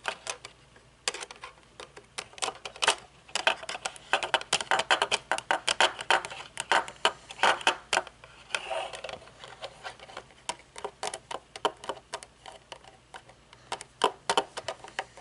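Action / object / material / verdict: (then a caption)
tap / metal-frame sunglasses with plastic temple tips / thin metal / none. Long nails scratch and tap along the thin metal temple arm and its plastic end on a pair of metal-frame sunglasses with dark lenses. The result is a dense, irregular stream of short, crisp clicks and light scrapes, bright in tone with almost no low end.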